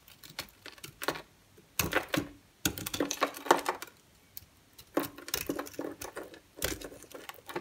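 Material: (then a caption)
Soap. A palm-sized solid white bar of soap, held in one hand, is carved and scraped with a green utility-knife blade as shavings fall away. Crisp, bright scraping and crackling cuts come in short bursts separated by brief pauses.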